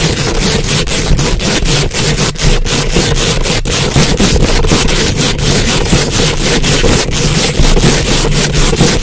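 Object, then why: Metal mesh microphone grille. Very long acrylic nails scratch and rub fast over the hollow, rounded metal mesh grille of a large condenser microphone. The result is a loud, continuous, rhythmic scraping with a heavy low rumble and bright, gritty strokes that repeat rapidly throughout.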